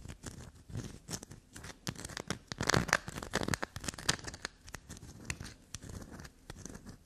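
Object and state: Black soap bar.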